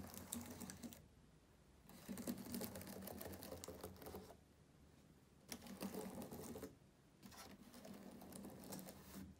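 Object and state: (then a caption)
Plastic laptop keyboard typing. Fingertips of both hands tap and type on the plastic keys of a black laptop keyboard. Quick clicky bursts of keystrokes come in several runs of a second or two, separated by short quiet pauses.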